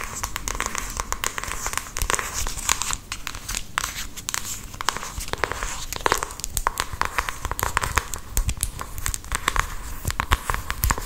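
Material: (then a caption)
Cardboard. Long acrylic nails tap and scratch a small, hollow, palm-sized printed cardboard makeup box while it is handled in both hands. The result is a steady 11-second stream of quick, dry, crinkly clicks and scratches with bright, hissy edges and a hollow low thump underneath. Each hit cuts off instantly with no ring.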